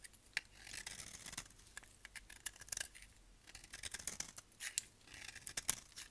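A solid tan dry soap bar held in the hand is scraped with a utility knife blade, giving soft, bright scratching and shaving sounds. Quick crisp scrapes come in uneven bursts with brief pauses between them.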